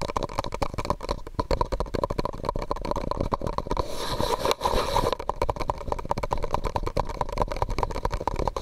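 A medium, hollow, empty white disposable plastic cup held over the microphone is rapidly tapped and scratched with fingertips and nails. It makes a dense stream of short, dull hollow taps with a ringing tone near 1 kHz. Around the middle, a brief stretch of brighter scratching sounds breaks in before the tapping resumes.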